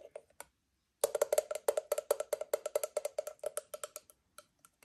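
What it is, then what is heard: Aluminium moka pot tapped with nails. Long nails tap the faceted lid and rim of a hollow, empty octagonal aluminium moka pot, with the lid opened and then closed. A few scattered taps are followed, after a short pause, by a rapid run of sharp, dry clicks, 27 in all, with a hollow tone around 600 Hz and a bright edge. Each tap dies away almost instantly, and the run thins out toward the end.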